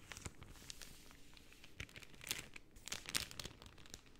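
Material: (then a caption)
Cellophane. A layered pink cellophane sheet is bent and crinkled with both hands, with long painted nails. The result is quiet, bright crinkling and crackling, with sharp, crisp snaps that die away instantly over a soft rustle.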